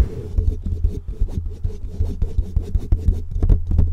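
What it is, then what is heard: Foam microphone windscreen being rubbed. The fingertips of both hands rub and scratch a black foam windscreen on a microphone. This produces fast, irregular bursts of muffled, boomy rustling and thumping. The sound is almost entirely deep low-end rumble with no bright top.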